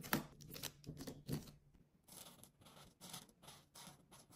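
A hand with long pink nails rubs the broad tip of a felt-tip alcohol marker across a thin white coloring book page lying flat on a table, coloring in an outline. Short, scratchy strokes come in uneven bursts of dry, bright rasping, with some low thuds in the first half second and a half. The strokes are quiet and close.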